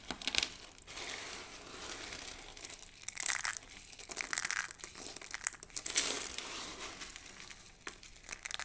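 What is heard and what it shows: Hands scoop up a pile of thin, dry pink and blue soap shavings and crush them between the palms and fingers. Dense, bright crinkling and crunching comes in bursts, with the sharpest crackles near the middle and end and almost no low end.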